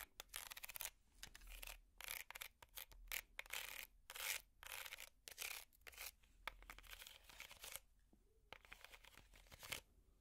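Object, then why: Small woven wicker basket. Long metal finger picks scratch a small, hollow woven wicker basket that still has its price tag attached. Bursts of dry, bright rasping and crackling come in quick strokes with short pauses, mostly high-pitched with little low end. The scratching softens briefly near the end before a few sharper strokes return.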